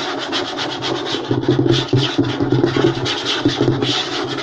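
Fingernails scratch quickly across a flat, light wooden tabletop while the fingertips of both hands tap on it. A dense, raspy scratching hiss runs throughout, broken by short, dull knocks with a low, woody body and a bright, scratchy edge.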